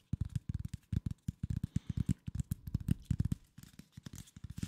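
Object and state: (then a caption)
Corrugated cardboard sheet. A flat brown corrugated cardboard sheet, about 40 cm across and held horizontally, is scratched and tapped with fingertips and nails. The result is a rapid series of about 29 short, dull, low thumps with no ring. Faint scratchy rustles sit between the thumps.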